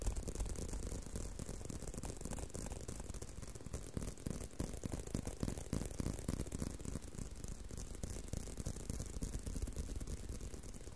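A leather belt is tapped and handled, giving a steady stream of quick, irregular dry taps and soft rattles at about three per second. The sound is quiet and mostly low and dull, with each tap dying away almost at once.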